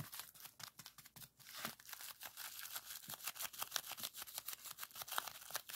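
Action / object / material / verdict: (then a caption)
shake / plastic bubble wrap sheet / plastic / none. A small sheet of clear plastic bubble wrap is rolled up and squeezed between the fingers to pop the bubbles. Rapid, sharp, bright pops mix with crinkling plastic throughout, each snap dying away almost instantly.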